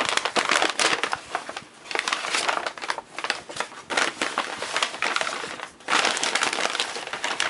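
Fingertips and palms crumple, unfold and flatten a large, thin sheet of brown kraft packing paper resting on a bed. The result is dense, bright crinkling and rustling with almost no low end. It comes in continuous waves separated by brief quieter dips.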